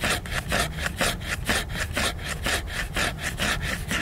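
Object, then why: Laminated hardcover book cover scratched with fingernails. Fingers and nails scratch and rub back and forth across the glossy laminated cover of a solid hardcover book. The result is a steady, rhythmic rasping at about two strokes per second, bright and hissy on top with a soft low rumble underneath.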